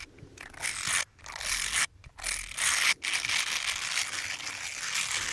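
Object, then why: Ribbed silicone finger sleeves. Small, hollow, light-blue ribbed silicone finger brush sleeves are rubbed and squeezed together between fingertips. They make a steady, bright, hissing scrape and squeak that stops briefly now and then before resuming, with almost no low end.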